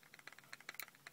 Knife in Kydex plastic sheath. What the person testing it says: I couldn't shake this knife out, but you're going to hear it rattle.